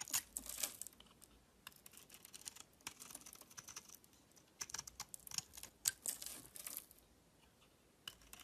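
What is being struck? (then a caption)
Bar of soap shaved with a metal blade. A flat metal blade shaves and scrapes thin flakes off the cut face of a solid egg-shaped soap bar with a dark red outer layer and a pale yellow core, held in one hand. Quiet, bright, crisp scratching and crackling comes in short irregular bursts with brief pauses between strokes, with almost no low end.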